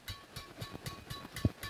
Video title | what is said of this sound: SENAR RAKET BADMINTON : MERK, TARIKAN, SIMPUL, DLL -- HOBIKIDAL BADMINTON | ini kita coba dengerin ya ini suaranya nyaring sekali